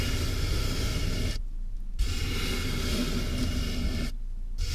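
Fingertips scratch the top and sides of a medium, closed corrugated cardboard box that is hollow with a mic inside. The result is a steady, boomy rumble of scratching, heavy in the low end, with a faint bright hiss over it. That hiss drops out twice, briefly, while the low rumble carries on.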